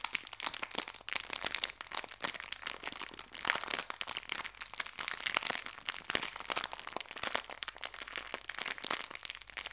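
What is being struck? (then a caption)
Small clear plastic bag of hair ties. A small clear plastic bag filled with hair ties is crinkled and pinched by fingertips and nails. The result is a steady stream of bright, dense crinkles and sharp crackles, mostly high-pitched with almost no low end, each one dying away instantly.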